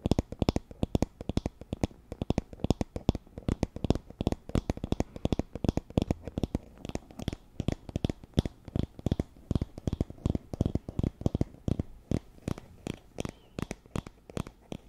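Long nails strum and scratch across the tips of the wooden pin bristles on a wooden paddle hairbrush. The result is a rapid, steady stream of short, dry clicks and ticks that fade almost instantly, with most of their energy low in pitch and little brightness.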